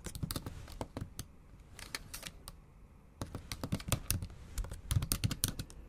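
Long acrylic nails tap and type on the black plastic keys of a MacBook Pro keyboard set in an aluminum body, typing Japanese. The bright, clicky taps come in quick irregular bursts, with a quieter pause in the middle. The typing then resumes more densely and with sharper clacks.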